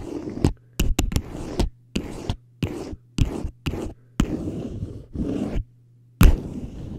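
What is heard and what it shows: The tines of a metal fork scratch and tap a small, hollow teal plastic traffic cone held upright. The result is a series of short, dull, hollow scraping and tapping bursts separated by brief silences. The sound is mostly low and boomy, with a faint bright edge on each contact.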